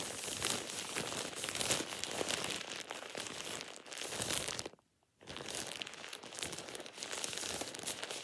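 A thin, light, hollow and empty plastic shower cap is held in one hand and scrunched and crumpled by the fingers. It makes a steady, bright crinkling and crackling with little low end. The sound breaks off into near silence for about half a second just before the 5-second mark, then resumes at the same level to the end.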